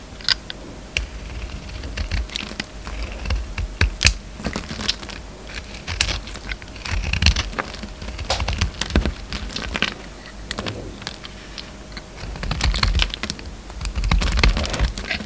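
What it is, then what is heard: Bar of soap being shaved. An oval, solid orange bar of soap with a purple rim is held in the hand and shaved with a utility knife. Dense, crisp scraping and crackling clicks come in uneven bursts over 15 seconds, each stroke brief and bright. A steady low hum sits underneath.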